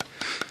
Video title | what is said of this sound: Bamboo Containers (Boiling/Cooking/Steaming) | you can tap these find where it doesn't sound hollow chop into that and you can get fresh water